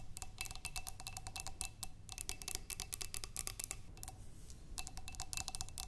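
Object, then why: Glass flower vase partly filled with water. Long nails tap and scratch both sides of a clear glass vase partly filled with water, with tulip stems inside. A quick run of short, bright glassy clicks with almost no ring sits over a soft low rumble, with a faint steady tone around 700 Hz and 2.7 kHz. The whole sequence stays quiet and close.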